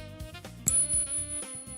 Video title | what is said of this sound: Silver to Hit $100 in China! COMEX Market Open LIVE! News & Analysis! 📈🚨 | You guys want to hear what silver sounds like when you ping it? This is real silver.